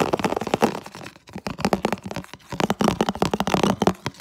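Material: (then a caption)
Plastic. Fingertips and nails rapidly tap and scratch across the surface of a medium, hollow, empty, translucent red plastic food container. The result is a fast, dense run of dry clicks and scratchy crinkles with a low hollow resonance. Each short hit dies away almost at once.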